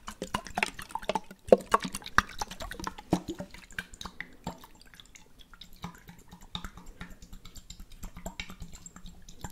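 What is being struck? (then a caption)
Small glass jar with water. A small clear glass jar, partly filled with water and topped with a blue checkered lid, is held and shaken while fingertips tap the glass. Quick, irregular, dry taps and clicks mix with dripping, sloshing water over a faint steady low hum. The sound is busiest and loudest in the first few seconds, then settles into softer, sparser tapping.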